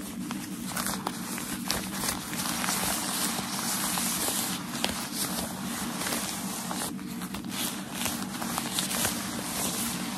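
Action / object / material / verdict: scrape / folded tissue paper bundle / tissue paper / none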